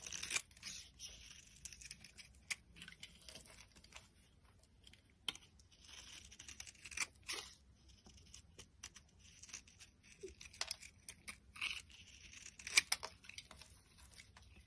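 A solid, dry cream bar soap is shaved with a metal utility blade, peeling off crumbly curls. The sound is a series of quiet, bright, dry scraping and crackling strokes separated by short pauses, with a few sharper cuts standing out. Each stroke stops abruptly, with almost no low end.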